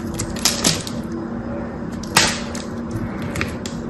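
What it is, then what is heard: Dry bar soap being cut. A knife cuts into a solid, dry, cream-white bar of soap with a thin blue edge and pries chunks off it. Crisp, bright cracks and snaps stand out above a steady, muffled scraping. The loudest crack comes just after the two-second mark.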